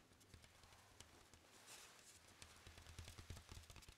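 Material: Hardboard.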